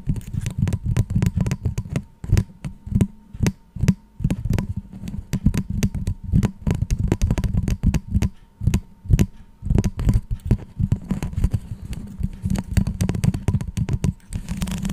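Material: Plastic.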